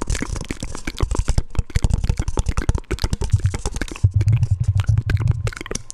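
A round, hollow, palm-sized black plastic lid is held up and tapped on its rim and top with fingertips and nails. A rapid, continuous run of short, dry taps and crisp clicks follows, with a deep low thump under the hits and bright nail ticks on top. Nothing rings out after the taps.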